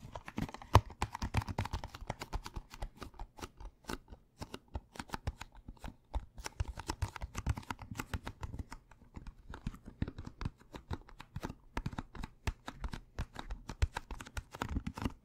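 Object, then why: Cardboard candy box. A hollow Thin Mints cardboard candy box is tapped and turned in the hands with fingertips and nails. It makes a rapid, irregular stream of dull, low hollow knocks mixed with brief bright scratches and clicks. Each sound dies away almost instantly.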